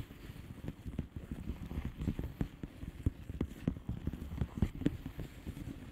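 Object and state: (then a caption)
Plastic bubble wrap envelope. A flat blue plastic bubble wrap envelope with air-filled bubbles is tapped with the long painted nails of both hands. The taps are quick and irregular, each a short, dull, low-heavy knock that dies almost at once. They run in a continuous soft patter with a few sharper clicks standing out.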